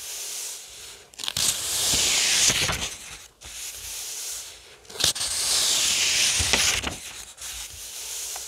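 Fingertips rub and trace over the printed paper pages of an open paperback novel held flat. Two long, dry scratchy strokes swell and fade, with a bright papery hiss and small crisp crackles between quieter stretches of soft rubbing.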